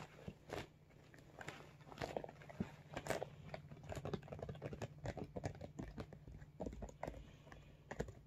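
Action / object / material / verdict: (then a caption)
tap / soft vinyl zippered makeup bag / vinyl / none. A medium blue iridescent holographic PVC/vinyl zippered makeup bag with a red logo patch, hollow and soft, is held in both hands and tapped and scratched with fingertips and short nails. Quiet, dull crinkly taps and brief scratches come in an irregular stream over a faint steady low hum.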